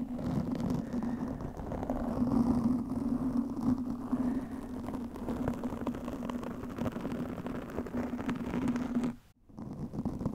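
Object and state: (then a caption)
Foam microphone windscreen scratched with nails. Long nails scratch a black foam windscreen fitted over a microphone, producing a continuous dense, crackly rustling with a steady low tonal hum running underneath. The scratching continues without a break until a brief drop to near silence around the nine-second mark, then resumes more softly.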